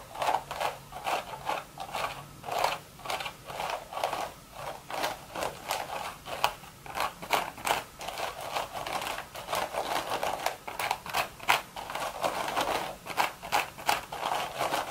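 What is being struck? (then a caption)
Woven straw hat. Long red nails scratch the woven crown of a cream straw hat with a hollow crown. The result is a quick, steady run of short, dry scratching strokes with a papery midrange rasp and a bright, hissy edge. Each stroke cuts off almost at once.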